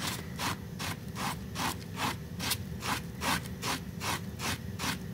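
A small, flat, woven pink fabric rug sitting in soapy foam is rapidly scrubbed with a pink plastic bristle brush. Each stroke makes a steady, rhythmic, wet scratching rasp with bright, hissy bristle noise over a soft, foamy low rumble. The strokes come in a fairly even back-and-forth pattern at roughly two and a half per second.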